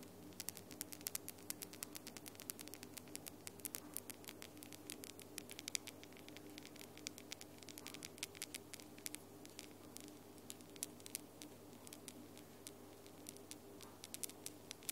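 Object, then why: Long acrylic fingernails. Long glitter acrylic nails are tapped against each other with the fingertip nails in quick, gentle tapping. Many short, bright clicks patter irregularly over a quiet, steady low hum and faint background hiss.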